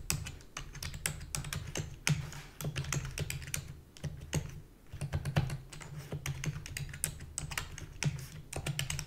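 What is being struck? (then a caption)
Plastic computer keyboard. Long fingernails and fingertips type rapidly on a full-size black plastic computer keyboard with a hollow body. Dense, bright clicky taps and clacks run continuously over a steady low hum, with each click dying away almost instantly.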